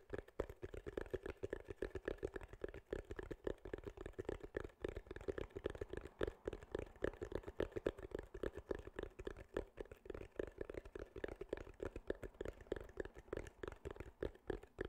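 A soft, porous, rounded grey foam windscreen over a microphone is held in both hands and tapped and scratched with fingertips and nails. The result is a quiet, rapid, irregular stream of short muffled taps and scratchy rustles with a dull low-mid thump around 400 Hz, each dying away almost instantly.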